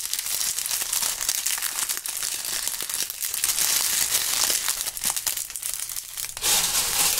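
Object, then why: Autumn leaves. A bunch of dry brown autumn leaves held between fingerless-gloved hands is crumpled and torn with the fingertips close to the mics. A dense, continuous run of bright, high crackling and crunching fills the clip with little low end. It swells into a louder burst near the end.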